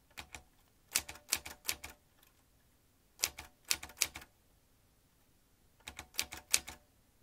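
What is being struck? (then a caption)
Manual typewriter with metal typebars. Fingertips tap the keys of a vintage metal manual typewriter, striking its metal typebars in three quick bursts of bright, dry clacks separated by short pauses. Each strike is crisp and high with almost no ring, and the clatter carries a faint metallic tinkle.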